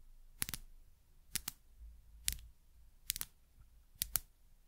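Long nails tap a small frosted glass dropper bottle with a paper label and a metal-collared dropper. The result is quick, bright, dry clicks, mostly in close pairs, spaced about a second apart with quiet between them.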